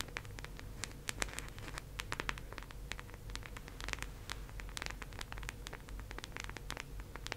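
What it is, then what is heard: Plastic round case tapped with nails. Long acrylic nails rapidly tap and scratch across the surface of a teal, round, hollow plastic disc case held in both hands. The result is a dense stream of sharp, bright clicks and scratchy strokes over a low, steady hum.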